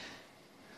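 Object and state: Nothing is struck.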